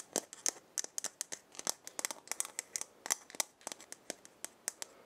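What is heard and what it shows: A hollow, round wooden or gourd maraca head with burned markings is held in the hand and scratched with long painted nails. The result is a rapid series of dry, crisp, bright clicks and scratches with almost no low end, each ending instantly.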